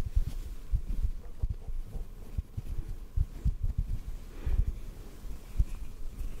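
A small white cotton ball, held in one hand, is tapped softly with the fingertips of the other. The result is a quick, uneven series of very low, muffled thumps, with almost no high or bright content and each tap dying away almost at once.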